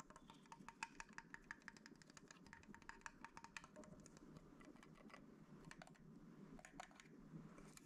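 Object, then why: Metal film camera body. Fingertips and nails tap the metal chrome body of a vintage rangefinder film camera with black leatherette and a glass lens, held in both hands, and play with its controls. Quick, sharp clicks and taps come in rapid, irregular bursts that thin out toward the end over a low background hum.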